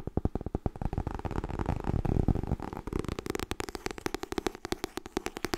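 Long nails tap quickly on the edge and cover of a white softcover "Getting Things Done" paperback made of solid paper, which is only partly in view at first. The rapid, dull, low taps blur into a dense patter in the middle, then return as distinct, evenly spaced knocks with little ring.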